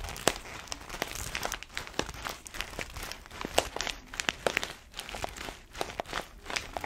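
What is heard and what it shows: An orange paper-foil coffee bag full of beans, held horizontally, is scratched and squeezed by long nails. The paper crinkles continuously, with many sharp, bright crackles and short scratchy strokes that stop dead with no ring and carry little low end.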